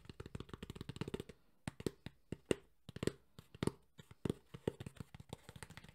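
A black textured JBL hard EVA speaker carrying case is held in one hand while the fingertips of the other hand tap and brush its surface. A fast run of dry, hollow knocks with a low-mid tone comes first, then after a brief pause sharper, louder taps and light brushing continue. Each hit stops almost instantly with no ring.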